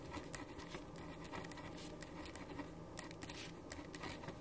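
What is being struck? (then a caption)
Paper sheet on a wooden desk, ballpoint pen. A black ballpoint pen writes on a white sheet of paper resting on a wooden desk. Quiet, steady scratching fills the clip, broken by sharp, bright ticks and short strokes as the tip drags and taps across the page, over a low, soft background hum.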